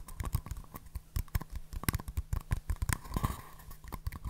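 Two small, empty, hollow green and white paper cups, held in both hands close to the mic, are tapped with nails and fingertips and knocked together. The result is a quick, irregular run of dull, low-heavy taps and light clicks that stop dead with no ring, over a faint steady low hum.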